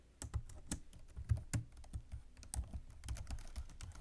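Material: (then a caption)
Plastic. Fingertips and long nails type rapidly on a black plastic computer keyboard resting on a desk. A dense run of quick, soft key clicks and taps follows, each with a low thump and a bright, crisp tick that dies away almost at once.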